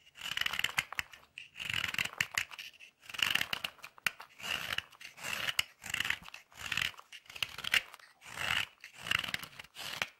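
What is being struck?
White chocolate bar scraped with a metal tool.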